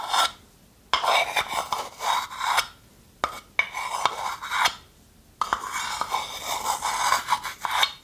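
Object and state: Wooden spoon scraping inside a wooden bowl.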